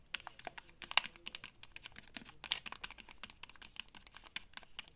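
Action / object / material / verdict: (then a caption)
tap / laminated plastic-foil pet food bag / plastic foil / none. A large, apparently filled Royal Canin dry pet food bag made of laminated plastic-foil is tapped and scratched with long nails while held against a shelf. Quick, dry, crinkly taps and scrapes come in an uneven stream, mostly bright and high with very little low end. Each one cuts off almost at once.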